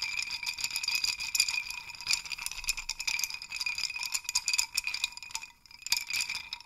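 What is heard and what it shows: Fingers grab and shake a wooden hanging chime rattle, a wooden dowel hung with small wooden sticks, so the wooden pieces rattle against each other. A dense, bright, continuous clatter of quick dry clicks with a faint ringing tone runs throughout, dipping to near silence around 5.5 seconds before another burst.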